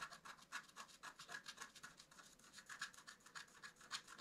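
A wooden stick scratches the coating of a flat, black-coated scratch-art card in quick, unevenly spaced strokes. Each stroke gives a soft, dry, bright rasp with almost no low end. The scraping is quiet and repeats at a steady but irregular pace throughout.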